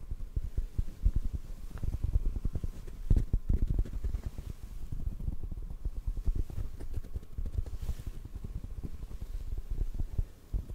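Fingertips tap on a hollow black foam mic windscreen held close to the microphone. The result is a rapid, steady stream of soft, muffled low thumps with almost no ring and nothing bright on top, over a faint low rumble.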